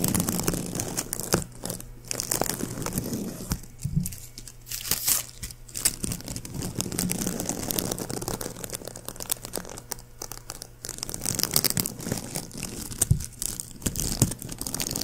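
A palm-sized white plastic ribbon gift bow with hollow loops is held in the fingers while fingertips squeeze and scratch its petals. The result is dense, continuous crinkling and crunching with bright, sharp crackles over a low steady hum.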